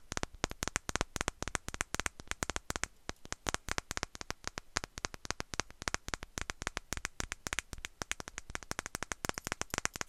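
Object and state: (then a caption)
Glass perfume bottle. A small glass perfume bottle with a fluffy atomizer bulb is tapped quickly with long nails close to the mic. Dozens of sharp, dry clicks come in a steady rapid stream, bright and crisp with almost no ring after each tap.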